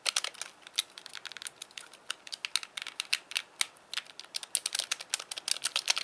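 Thumbs and fingertips click the buttons and D-pad of a hand-sized, white, hollow plastic Wii Classic controller. A rapid, uneven stream of sharp, bright plastic clicks, each dying away almost instantly, with no low-end body and brief quiet gaps between bursts.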